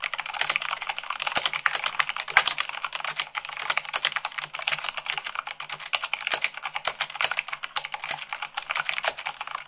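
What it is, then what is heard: Plastic mechanical keyboard. Fingertips with long acrylic nails type fast, at about 98 words per minute, on a full-size mechanical keyboard with white plastic keycaps on a black base. The result is a rapid, steady stream of short, bright, clicky plastic taps with almost no low end, each tap dying away almost instantly.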